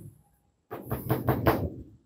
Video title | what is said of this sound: Building a Greenhouse? Here are the Best, Cheapest, and Most Practical Materials to use | iba ang tunog ng plastics namin